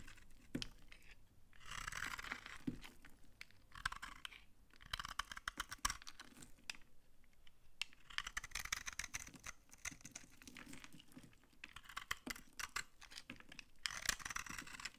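A utility knife shaves dry curls off a solid brown laundry soap bar held in the hand. Bursts of crunchy, bright scraping alternate with short quiet gaps, dotted with sharp crackling clicks as the dry curls come away.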